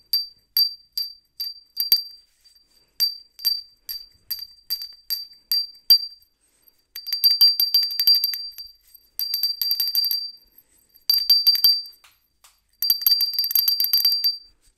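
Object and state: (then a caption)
Ceramic hand bell. A small, hollow white ceramic hand bell with a decal is held in a black-gloved hand and shaken so it rings. Single bright, high dings with very short decay come first, spaced about every half second. These give way to four longer bursts of rapid tinkling as the bell is shaken continuously.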